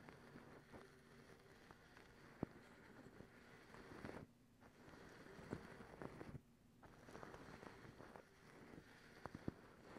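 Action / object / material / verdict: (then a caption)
scrape / folded cotton terry towel / cotton / none. Long pink acrylic nails scratch and pluck a soft, folded white cotton terry cloth towel. Quiet, steady fabric scratching with a low-mid rasp is broken by several sharp, clicky plucks and two brief silent pauses.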